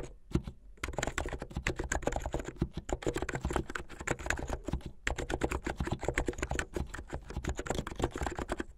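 Fingertips with medium-length painted nails type fast on a plastic mechanical keyboard with white and blue plastic keycaps. The result is a dense, steady stream of short, clacky keystrokes with a deep, low-weighted body, broken by brief pauses near the start and around the five-second mark.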